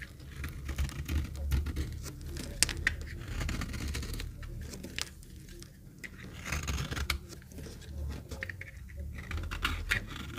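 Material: Soap.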